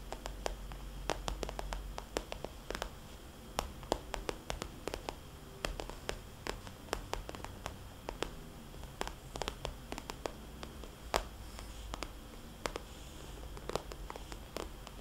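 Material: Vinyl.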